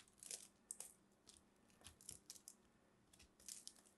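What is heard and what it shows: Hands with long red nails hold a solid, fist-sized green soap ball with purple specks while a small blade carves and scrapes flakes off its surface. Quiet, bright, crisp scraping and crunching strokes come in short bursts with brief pauses, with almost no low end and no ringing after each cut.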